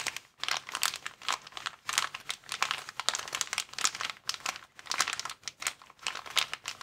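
A clear plastic inflatable air-column packaging cushion, hollow and partly filled with air, is held in both hands while the thumbs and fingers squeeze and crinkle its columns. Dense, bright crackling crinkles come in quick overlapping bursts, with almost no low end and no ring after each crackle.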